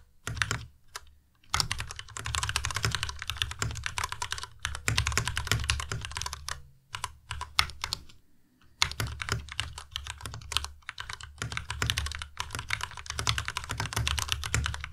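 Rapid two-handed fingertip typing on a white tenkeyless Ducky Miya Pro mechanical keyboard with plastic keycaps produces dense, bright clicky keystrokes with a low thock as keys are pressed and released. Bursts of fast typing are broken by short pauses.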